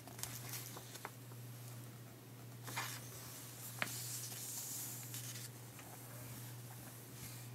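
An index fingertip traces along and scratches the printed page of an open softcover paper booklet with a solid stack of pages, while the other hand holds it flat. Soft, breathy scratching and rustling rises and falls over a steady low hum, with bright hiss in the louder stretches. Three sharper ticks stand out from the quiet friction.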